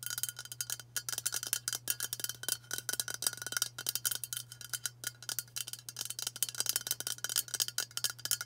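Long matte burgundy nails tap fast on a hand-sized White Dove aluminium spray deodorant can, a hollow cylinder with pressurised contents held in both hands. The result is a rapid, uneven stream of bright, metallic clicks that stop almost at once, with a faint tone near 1.4 kHz. A steady low hum sits underneath throughout.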